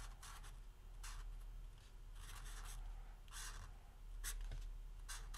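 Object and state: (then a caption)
Felt-tip marker writing on a paper pad. A green felt-tip marker is drawn across a small, flat yellow lined paper legal pad lying on a wooden table, writing "Christmas" while the other hand steadies the pad and holds a capped marker off the paper. Bright, scratchy stroking bursts come in uneven runs over a low, steady background rumble.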